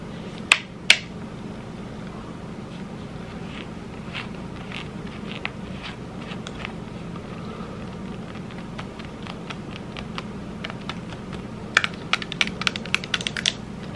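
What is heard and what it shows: Long red acrylic nails tap and scratch along the hollow plastic headband and earcup of a pair of over-ear headphones held in the hands. Two sharp, bright clicks open the clip, followed by quiet, scattered ticks and soft scratching over a steady low hum. A quick cluster of crisp taps near the end dies away almost instantly.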